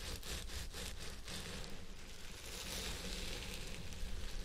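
Fingertips and nails of both hands scratch the fibers on both sides of a purple synthetic wig resting on a head form. The result is a continuous, dense crackling rustle with bright scratchy texture over a low steady rumble. It holds at an even level throughout, with a few brief stronger strokes early on.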